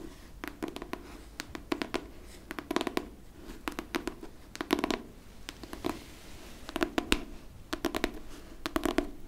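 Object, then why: Hardcover book, cardboard and paper. Long pink nails scratch and tap the cover and spine of a solid pink hardcover book, "Armocromia," held in the hands. Quick bursts of short, dry clicks with a mid-range body and bright edges come in clusters, and soft scratching fills the gaps between them.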